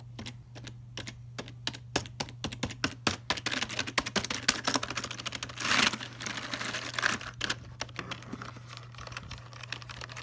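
Fingertips type and tap on the letter, number and function keys of a full-size black plastic Logitech keyboard resting in its box, producing a rapid run of short, bright plastic clicks with almost no ring. A steady low hum sits beneath the taps, and a brief, louder burst of hissy rustling rises near the middle before the typing continues.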